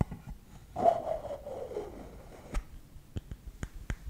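Fingertips and nails tap and scratch the lid of a hollow, round, lidded bamboo canister engraved SALT, held in one hand. A soft scratching scrape with a faint hollow tone of about 680 Hz swells and fades over the first two seconds. It is followed by several sharp, short, dry taps spaced apart.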